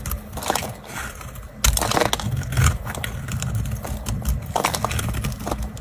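A knife blade scrapes and cuts crumbly flakes from a solid, round, dry orange bar of soap held in the fingers. Dense, dry crackling and scratchy crunches run throughout over a low rumble, with louder, sharper bursts of cutting at about 1.7 and 2.6 seconds. Short flake-breaking clicks continue steadily to the end.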